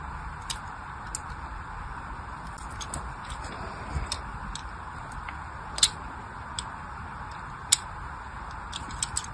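A small blade scores a crosshatch into the surface of a solid orange glycerin soap bar held in the hand. Faint, irregular bright ticks and scratches click over a steady soft hiss, with a few sharper snaps standing out.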